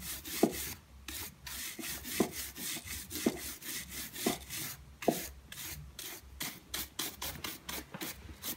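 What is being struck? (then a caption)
Metallic leather high-heel pump. A wooden-backed bristle shoe brush is rubbed in brisk back-and-forth strokes over a silver-grey textured metallic leather pointed high-heel pump, a hollow shoe worn on the foot, held in one hand. The result is a quick run of bright, bristly swishes and raspy scrubs, with a few sharper, duller taps mixed in. Each stroke stops dry with no ring.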